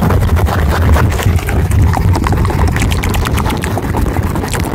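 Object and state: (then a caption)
Cork coaster. A round, flat, thin solid cork coaster about the size of a plate is held up in both hands and rapidly tapped and scratched with fingertips and nails. It makes a steady, dense stream of soft, boomy low thumps overlaid with bright, crisp scratchy clicks, with no pauses throughout.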